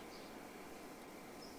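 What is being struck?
Nothing is struck.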